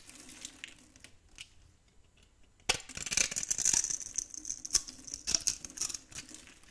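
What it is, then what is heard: Dry soap bar scraped with a blade. A metal blade scrapes and cuts small pieces off the edge of a very old, solid olive-green dry soap bar held in the hand. Soft, faint scratching gives way at about the midpoint to louder, crisp, crackling scrapes and brittle snaps. The sound is bright and dry, with almost no low end.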